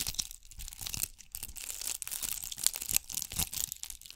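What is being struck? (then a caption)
Ball covered in bugle beads. Long nails scratch and rub a hand-sized, solid-looking ball covered in bugle beads, held close to the mic. The result is a quiet, dense stream of bright, crinkly scratching and tiny clicking ticks, with brief dips and swells as the nails move across the beads.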